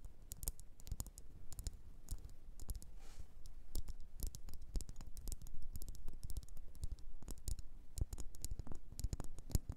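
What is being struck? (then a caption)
Wax pillar candle. Long nails tap a solid red faceted wax pillar candle, making quick, irregular clicking taps. Each tap is a short, sharp click with a bright edge over a soft low thump, dying away almost at once.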